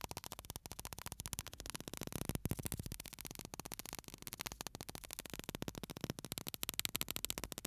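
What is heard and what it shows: A small clear glass bottle with an aluminium screw cap, full of fine white sand, is held in the fingertips beside the microphone and slowly tilted and shaken so the sand shifts inside. It makes a quiet, steady stream of rapid, dry, gritty ticks that spread from low to high. The rustle swells and eases as the bottle moves.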